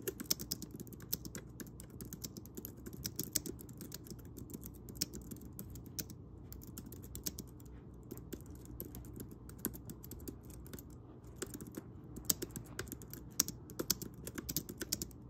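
Fingertips of both hands type steadily on a pink plastic Logi wireless keyboard with round keys. The result is a quick, uneven stream of light, bright clicks and taps with short pauses, over a faint low background rumble.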